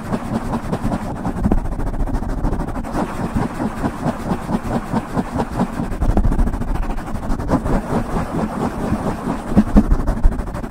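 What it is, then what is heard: Foam microphone windscreen being scratched. Fingernails on both hands scratch the top and sides of a soft, hollow black foam windscreen on a silver microphone. The result is a steady, muffled, low-pitched scratching and rustling with a deep rumble and almost no bright high end, swelling and easing in continuous waves.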